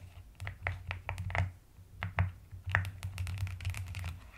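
Long-nailed fingers type quickly on a white-cased plastic mechanical keyboard with pastel purple and white plastic keycaps. Fast, short clacky keystrokes tick over a steady low hum near 98 Hz, with a few louder strikes standing out.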